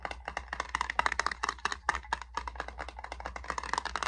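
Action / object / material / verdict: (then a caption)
tap / small metal salve tin / metal / none. A small metal hand salve tin is tapped for ASMR in quick, irregular bursts of dry, clicky taps. The taps have a midrange tonal ping around 1 kHz with bright edges and die away almost instantly, over a faint low hum.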